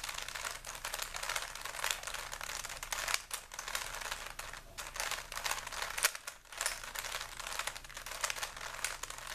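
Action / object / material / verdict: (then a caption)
scrape / plastic puzzle cube / plastic / none. A small, solid plastic 3x3 Rubik's cube with stickers is held in both hands while the fingertips turn its layers over and over. The turns make a steady stream of quick, bright plastic-on-plastic clicks and crinkly rattles, with brief pauses between bursts of turning.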